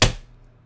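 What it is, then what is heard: Fake plastic prop money stack. A stack of fake plastic $100 bills used as prop money is smacked once. It makes a sharp, bright slap that fades quickly into a faint low hum. The crisp, plastic-like sound marks the stack as fake rather than real paper money.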